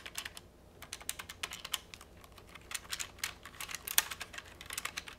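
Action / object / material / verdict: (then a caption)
tap / plastic phone handset keypad / plastic / none. Fingertips repeatedly press and click the rubber/plastic keypad buttons on a hollow pink plastic retro trimline phone handset held in the hand. The result is a quick, uneven run of short, dry, bright clicks with almost no low end, broken by brief pauses, with one sharper, louder click near the end.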